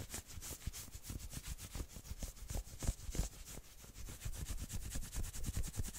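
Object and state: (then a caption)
Knit sweater being scratched. Long nails quickly scratch the sleeve and then the shoulders of a worn, dark red patterned knit sweater. The result is a fast, steady run of short rubbing strokes, each a bright fabric hiss over a soft low thump.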